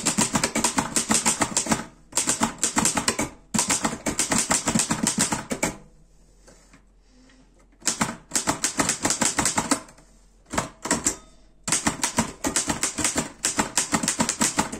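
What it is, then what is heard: Metal portable typewriter. A black metal Erika 5 portable typewriter is typed on quickly with the fingertips, producing dense bursts of bright, sharp key clacks. The rapid typing pauses several times, leaving brief quiet gaps.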